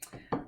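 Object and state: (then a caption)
Baked unleavened bread sounding hollow (done). A finger taps twice on the bottom of a pale, finished unleavened flatbread baked on a pizza stone. The taps are short, hollow-sounding knocks, the second louder than the first. The hollow tone shows the bread is baked through.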